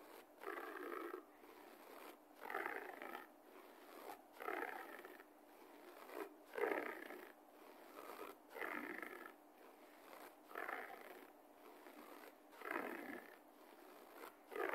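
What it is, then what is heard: Carpet being scratched. Fingertips and nails of a left hand scratch repeatedly at a low-pile beige carpet floor while a right fist rests on it. Dry, rasping scratch bursts come roughly every two seconds, with quieter scraping between them and no low rumble.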